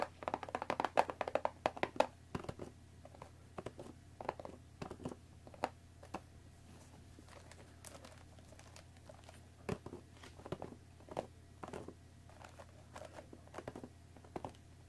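Long nails tap the top of a hollow, rectangular cardboard Earl Grey tea bag box, and fingertips tap and rub its sides. The quiet, dry clicks and soft scratchy rubbing come in a dense cluster over the first two seconds, then settle into sparser, scattered taps over a faint, steady low hum.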